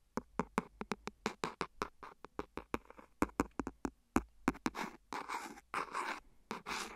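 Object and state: Clear silicone phone case.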